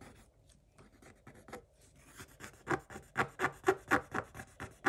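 A pointed wooden stick scrapes the black coating off a flat coated paper page in a spiral-bound scratch-art book, leaving visible flakes. Faint, scattered scratching builds into a rhythmic run of about ten sharper, dry rasping strokes, roughly two per second, with a bright papery edge.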